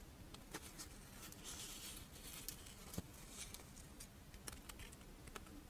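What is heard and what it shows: Long nails scratch and tap the scale pattern of a crisp, pink, fish-shaped strawberry rice wafer monaka held upright. Soft, dry scratching runs throughout at low volume, broken by short, sharp clicks. A light, bright crackle sits over a low hum.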